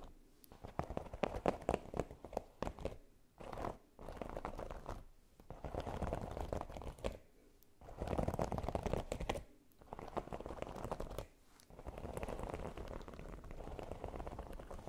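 Long nails quickly scratch and tap a red silicone baking mat with a pyramid texture. The result is dense, soft crinkly scratching in bursts of a second or two, separated by short pauses. The sound is mostly low-mid with little high brightness.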